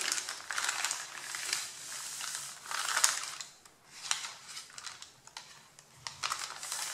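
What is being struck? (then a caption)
Stack of paper sheets. Hands crumple and rub the top sheet of a pile of white printed printer paper with fingertips and nails. The result is a bright, dry crinkling and rustling that swells and fades in waves, with sharp crackles and almost no low end.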